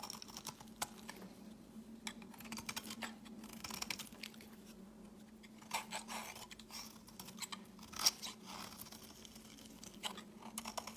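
A metal blade shaves thin flakes off the edges of a solid white rounded soap bar held in the hand, with repeated scraping strokes. Quiet, bright, crisp scrapes and flaky crackles come in short bursts, a few louder strokes standing out, over a steady low hum near 200 Hz.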